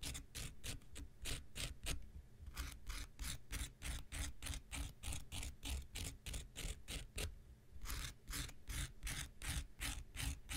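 A handheld pink rectangular nail buffer block of solid foam with an abrasive surface is scraped with an x-acto knife blade. Quick, somewhat uneven strokes, about three per second, each make a bright, gritty rasp over a steady low rumble. Brief gaps fall around the two- and seven-second marks.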